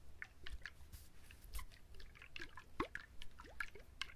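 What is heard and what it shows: A whole coconut with its fibrous husk still on, held in both hands close to the mic, is quickly scratched and tapped by fingertips and nails. The sound is a quiet, irregular run of dry, crackly scratches and soft taps over a low rumble, with a few short rising squeaks.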